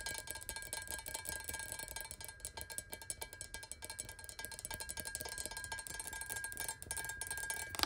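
Long nails tap rapidly on the sides of a clear square glass water bottle with a thick base, standing on a table. The steady stream of quiet, bright clicks carries faint glassy ringing tones near 1.2 kHz that die away almost instantly.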